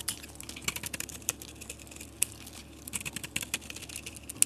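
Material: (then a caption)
Soap. A metal utility blade cuts and shaves curls from a solid soap bar with a marbled coating and an orange interior, held in the hand. Many quick, crisp, dry scraping clicks and crackles follow one another, bright and papery with almost no ring, a few sharper snaps standing out.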